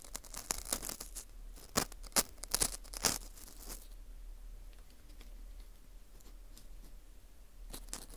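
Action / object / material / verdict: scrape / dried wheat gluten ring scraped with metal tweezers / wheat gluten / none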